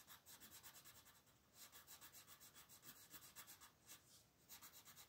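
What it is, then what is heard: Colored pencil shading on a paper page. A hand holding a red colored pencil rubs and scratches back and forth across the thin paper page of an open coloring book lying flat on a table, shading a crab drawing. The quiet, rhythmic strokes make a bright, dry, papery scratching. Brief pauses break up the steady rasping rhythm.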